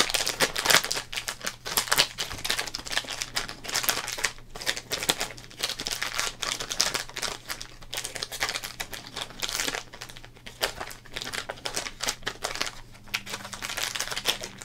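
Fingertips hold, flex and crinkle an empty, torn-open Topps Big Baseball Cards wrapper made of thin, printed plastic. The result is a dense, continuous stream of sharp, bright crackles and rustles that rise and fall in bursts, over a faint steady low hum.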